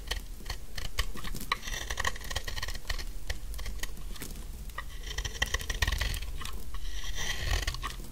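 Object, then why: Bar of soap scraped with a metal blade. A solid pink dry soap bar with embossed lettering has its edges scraped with a metal knife blade. Dense, rapid, dry crumbly scraping and crunching runs throughout in short, quick bursts, with bright crackle over a low rumble.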